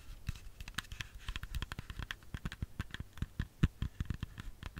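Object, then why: Whole apple. Long fingernails tap and scratch on a whole, solid red apple, making a quick, uneven run of soft, short, dull thuds. Faint bright scratchy clicks ride on top, and each tap dies away almost at once.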